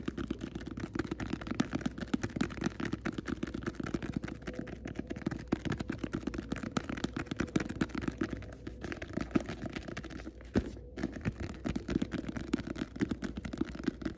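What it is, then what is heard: Leather book cover tapped. Fingertips with short nails tap rapidly on the front of a small, solid, closed Bible with a brown leather cover, held up close in both hands. The dense stream of soft, dull taps stays steady for the whole clip, with most of the energy low and warm and almost nothing bright, and each tap dies away at once.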